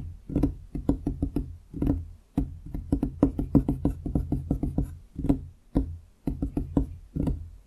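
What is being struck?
Large wooden desktop.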